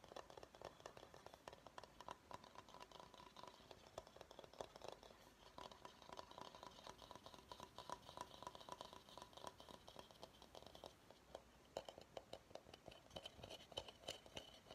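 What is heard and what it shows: Fingernails tap and scratch the outside of a medium, empty bamboo bowl near its label. The result is a quiet, steady stream of dense, dry clicks and scratchy rasps with a hollow mid-range tone and almost no ring. Brighter scraping comes through in the later part.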